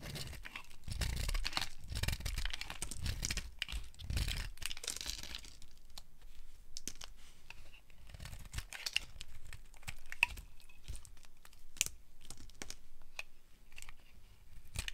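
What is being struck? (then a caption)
Bar of soap carved with a metal blade. A solid, opaque, dry yellow soap bar is held in the hand and carved by a metal blade into flakes. Dense, crisp scraping and crunchy tearing sounds mix with soft low thumps, and short bright clicks and crackles stand out as the flakes break away.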